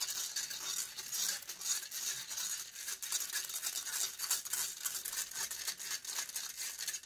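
Long grey acrylic nails scratch a hollow metal mesh microphone grille in close view. The result is a continuous, dense, bright scraping and rasping with rapid irregular strokes and almost no low end.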